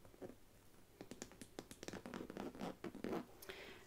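Long nails scratch along the front and side of a small, hollow faux leather mini backpack printed with a Hades design. The result is a quiet, uneven series of short, dry scraping bursts with a soft hollow body underneath.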